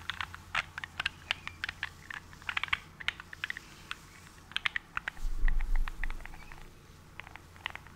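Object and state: Glass nail polish bottle.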